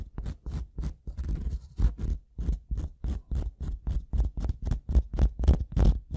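The metal prong tip of a pink-handled tool scratches and taps across the top surface of a solid, light-colored wooden block. The result is a rapid, slightly uneven series of short, dull scraping strokes with a low thud at their base and a faint bright hiss. Each stroke dies away almost immediately.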